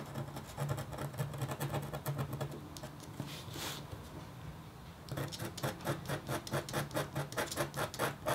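A metal-tipped stylus scratches a flat, thin, solid black-coated copper foil scratch art board in quick, rhythmic strokes, each giving a dry, raspy scrape over a steady low hum. Midway the strokes soften into a smoother, continuous drag, then the regular back-and-forth scratching resumes until the end.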